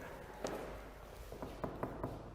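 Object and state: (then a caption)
Solid precast concrete wall. Several knocks are struck on a precast cement panel wall of a precast house as a "knock test" before entering. They are short, dull, low-mid thuds with very little high content and a brief decay over a steady background hiss. The wall sounds solid.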